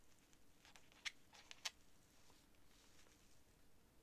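A thin quill or dip pen nib is scratched across flat, thin sheets of cream writing paper lying on a desk while writing. The result is a quiet, dry, bright scratching made of short strokes, with a few sharper, crisp ticks standing out against faint background hiss.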